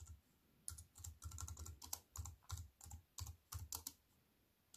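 A compact plastic computer keyboard with black plastic keys on a silver aluminium frame is typed on quickly with fingertips and long white nails. The result is a fast, uneven run of short, dry clicks with bright key-tap edges and a soft low thump beneath each stroke, broken by brief pauses.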